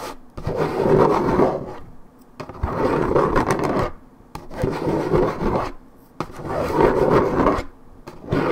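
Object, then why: Paperboard juice carton. Long red nails scratch and rub along the coated cardboard of a 1.75 L Minute Maid paperboard orange juice carton. Each long stroke makes a dry, rasping sound centred in the low-mids, separated by brief quiet pauses in a steady back-and-forth rhythm.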